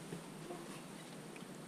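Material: Nothing is struck.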